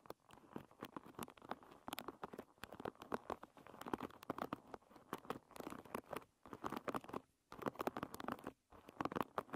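Long red nails strum and scratch across the many wooden pins of a hairbrush lying bristles-up. The result is a quiet, rapid, crackling patter of dozens of dry clicks and scrapes, centered in the mid range, with brief pauses near 7 and 8.5 seconds.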